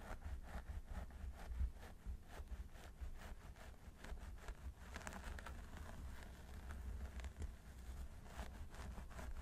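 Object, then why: Synthetic hair on a mannequin training head. Fingertips scratch and rub the scalp of a mannequin training head through its long blonde synthetic hair near the parting. It makes a quiet, steady rustling and scratching with many short, bright crackles over a dull low rumble that runs throughout.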